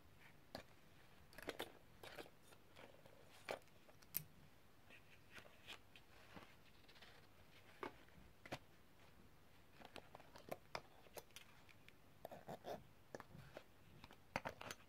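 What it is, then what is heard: Set of small metal tools tapped. A hand with long red nails taps another metal tool along the handles of a row of thin, solid, colorful coated metal extractor tools held in an open black zip pouch. The result is quiet, sharp, irregular clicks and ticks that die away almost instantly, with bright metallic highs over a low background hiss.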